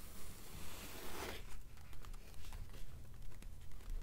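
Long nails scratch across the paper pages of an open blue paperback novel, making a steady bright rasping hiss for about the first second and a half. The sound then changes to rapid, light tapping on the pages, with quick dry taps in an uneven rhythm over a soft low rumble.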